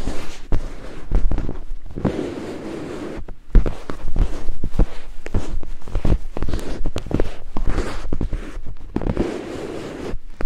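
Two thin wooden picks held in the fingertips scrape and tap against white silicone binaural microphone ears. The result is a dense, fast run of scratchy crackles and short, dull thumps, heavy in the low end. Quieter stretches of scraping come between the busier bursts.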